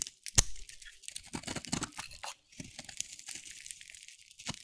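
A metal blade carves and scrapes curls off a hand-held bar of dry, solid cream-white soap with a teal outer layer. The result is a rapid run of crisp, crunchy scraping and tearing sounds with bright crackle, opening with one sharp louder cut. There is a brief silent pause partway through before the scraping resumes.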